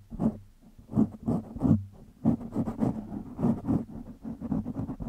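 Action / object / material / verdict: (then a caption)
scrape / foam microphone windscreen / foam / none. Fingertips of both hands scratch a black foam windscreen on a microphone, producing rough, muffled scratching bursts with a low hum around 220 Hz. The scrapes come in uneven, overlapping waves that swell and fade, dark and bassy with little brightness.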